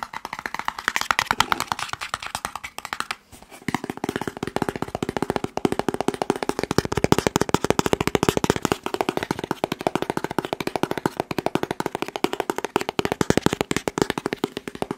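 Fingertips and nails rapidly tap and scratch a long, hollow, blue and white cardboard test kit box. The result is a dense stream of dry, sharp clicks with a hollow mid tone, pausing briefly around three seconds before continuing at a steady fast pace.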